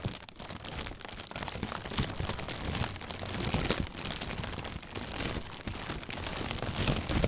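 An inflated, hollow white plastic bag, held from below, is squeezed and crinkled with the hands. It makes a steady, dense crinkling and rustling with bright, crackly highs over a soft low rumble. The sound swells gently and fades with no pauses throughout.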